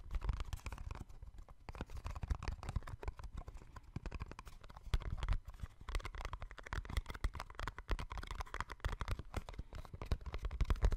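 A small, hollow yellow-and-white cardboard box held close to the microphone is tapped and scratched with fingertips and nails. Dense, rapid taps land as soft, low, hollow thuds that die away almost instantly, with faint brighter scratching between them. The quick, uneven patter runs without a break for the whole clip.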